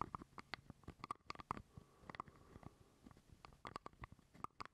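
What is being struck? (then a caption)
Small plastic jar lid. Fingernails tap and scratch a small hollow purple plastic jar lid held close to the microphone. The result is a quiet, irregular run of dry clicks with a faint hollow ring near 1.2 kHz, mixed with soft scratchy rustling. Each tap dies away almost at once.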